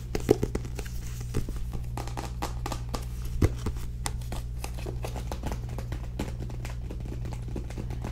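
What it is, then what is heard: Paperback book tapped with nails. Long nails tap rapidly and unevenly on the back cover and page edges of a small paperback book, making short, dry clicks. A steady low hum sits underneath the tapping throughout.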